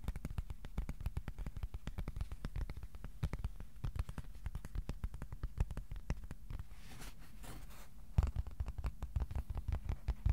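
Fingertips tap on a piece of cardboard, sometimes slowly and sometimes quickly, making a steady stream of dull, low, hollow thuds that stop almost instantly. The tapping thins out briefly around the seventh second, then resumes with a slightly sharper, louder burst.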